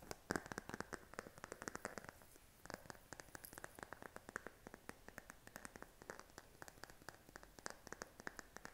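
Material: Silicone.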